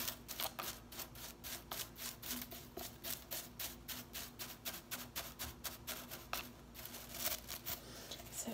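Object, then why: Plastic broom bristles. Fingernails scratch and flick across the blue plastic bristles of a broom with a white plastic head. A rapid run of short, dry, bright scratchy ticks and brushing strokes repeats steadily, each decaying almost at once, with a faint low hum underneath.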